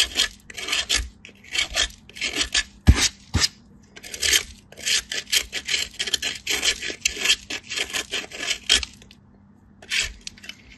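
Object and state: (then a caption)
Soap bar grated on a metal grater. A small, solid, pale piece of soap is rubbed by fingertips with light-blue nails against a perforated stainless-steel box grater, making quick bursts of bright, hissy rasping strokes as shavings fall. A couple of sharp clicks stand out early on, and the scraping pauses briefly before a final few strokes.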